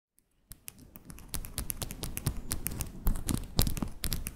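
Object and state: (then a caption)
Acrylic press-on nails tapped together. Long decorated acrylic press-on nails, small, hard and thin, are tapped nail-on-nail against each other by both hands held above a fluffy microphone without touching it. Rapid, uneven clicking taps start after about half a second of near-silence and grow denser and louder, with a low rumble underneath.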